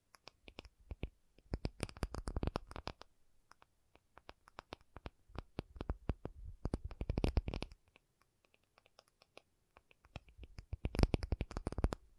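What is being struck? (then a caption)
Acrylic object. An acrylic object is tapped in quick, dry clicks that come in three dense flurries, with scattered single taps between them. Each tap is short and soft, mostly a low thump with a faint bright click on top.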